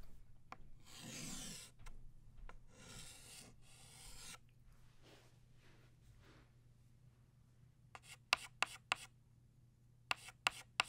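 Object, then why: Chalk stick on a chalkboard. A green chalk stick held in the fingers is drawn across a flat black chalkboard in long scratching strokes, sketching a stem and leaf. Bright, raspy scrapes fill the first four seconds, then fade to softer strokes over a faint steady low hum. The clip ends with a series of short, sharp chalk taps.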